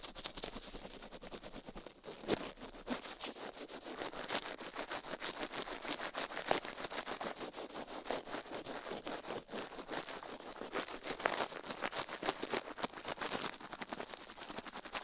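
The left silicone ear of a binaural microphone, resting on a steel plate, is scratched and brushed continuously with the bristles of a plastic toothbrush held in a white-gloved hand. The result is a dense, rapid, bright scratching with almost no low end and occasional louder strokes poking out of the steady flow.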